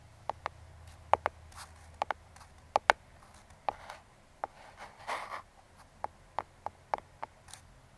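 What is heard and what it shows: Metal claw fingertip picks scratch and trace across the top surface of a small, closed brown kraft cardboard box. Nineteen short, sharp clicks and taps stand out above a quiet background, mixed with a few softer, brighter scraping swells where the picks drag across the cardboard. Each sound dies away almost instantly.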